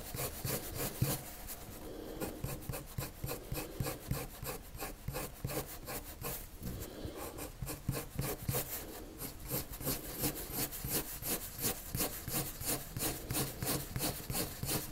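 A hand shades a circle on flat white drawing paper with a pale colored pencil, the lead scratching and rubbing across the sheet. Quick, fairly steady back-and-forth strokes repeat at about three per second, each a soft scratchy rasp with a bright hiss on top of a low rubbing body.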